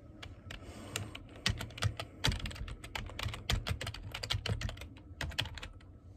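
Fingertips tap the keys of a black plastic computer keyboard, producing a quick, irregular run of short, bright clicks over a low thumping undertone. Some strokes land harder than others, and each key sound dies away almost at once.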